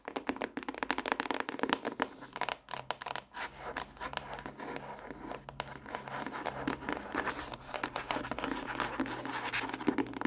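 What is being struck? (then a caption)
Hardcover notebook, cardboard cover over paper. Long acrylic nails rapidly tap and scratch the smooth front cover of a closed pink hardcover notebook, a solid stack of paper lying flat on a desk. The result is a dense run of short, dry clicks and scratchy strokes with a muted midrange body and little ring.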